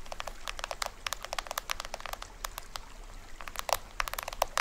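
Fingertips and nails tap and scratch the printed plastic film drum head of a small hollow toy drum with a green rim. A rapid, uneven run of dry, bright ticks and crinkly scrapes, centered around 676 Hz, dies away almost instantly over a faint low hum.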